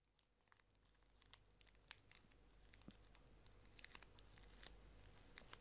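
A small pink plastic-film pocket tissue pack, full of tissues, is held in both hands and crinkled and squeezed with fingertips and long dark nails. Quiet, irregular bright crinkles and sharp crackles sit over a steady low hum, growing slightly louder as the squeezing continues.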